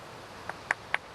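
A fresh flint nodule taken from the cliff is tapped four times, each tap giving a short, clear, bright ring around 1.7 kHz. The crystal-like ring marks it as a sound piece without many flaws that would cause problems when knapping.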